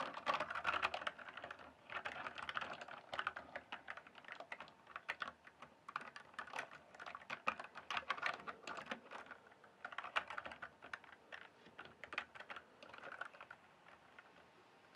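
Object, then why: Plastic mechanical keyboard. Fingertips type on the plastic keycaps of a full-size RGB-backlit mechanical gaming keyboard. Fast bursts of sharp, bright clicks and clacks are separated by brief pauses. The sound is dry and short-ringing, with almost no low end.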